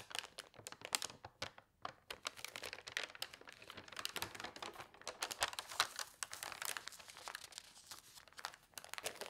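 A large newsprint newspaper lies spread open flat on a cloth-covered table while fingertips with long painted nails turn its pages and smooth them flat. Dense, bright paper rustling and crinkling is heard, with sharp crackles and soft rubbing strokes throughout and almost no low end.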